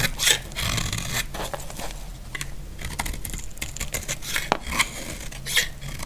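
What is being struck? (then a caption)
Bar of soap scraped with a blade. A utility blade shaves and scrapes the surface of a solid, dry pink bar of soap. The sound is a steady, bright, rasping scrape, broken by sharper crisp cuts that stand out as the blade bites into the soap.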